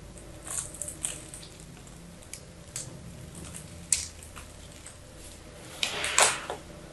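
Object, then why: Solid bar of soap cut with a knife blade. A knife blade repeatedly scrapes and chips small cubes off the scored surface of a small, solid, blue-and-white striped bar of soap held in the hand. Short, crumbly, bright crunches stand out against a quiet hiss, ending in a louder cluster of scraping crunches.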